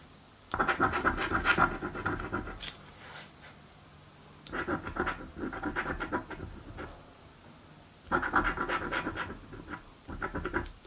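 A coin held in the fingertips scrapes the coating off a thin card "Mystic Riches" scratch-off lottery ticket lying on a table. Three bursts of rapid, dry rasping strokes come through, each separated by a quieter pause with faint lighter scrapes, and the scratching has a papery, mid-to-bright texture.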